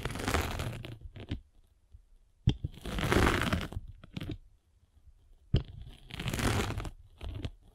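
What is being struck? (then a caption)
Abrasive foam sanding sponge rolled with a metal-spiked roller. A metal-spiked derma roller is rolled across a palm-sized block of solid abrasive foam sanding sponge. Three rough, crunchy, scratching passes swell and fade, with short crackly ticks between them and sharp clicks at the start of the second and third passes.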